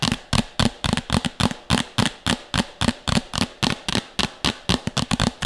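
Long nails rapidly tap and scratch a medium, empty, hollow red plastic bowl held beside the mic. About 23 quick, slightly uneven hollow knocks ring briefly with a low body tone under bright, scratchy clicks.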